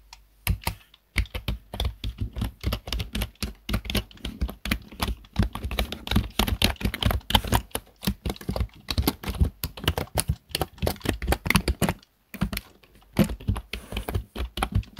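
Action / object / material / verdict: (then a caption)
tap / plastic computer keyboard / plastic / none. Fingertips tap the keys of a black plastic desktop keyboard in continuous typing, with brief pauses near the 1-second and 12-second marks. Each keystroke is a short, dry, low-weighted clack with little ring and a light bright click on top.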